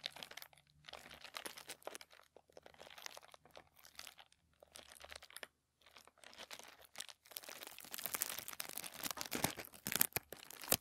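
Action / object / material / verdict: scrape / thin tissue paper sheet / paper / none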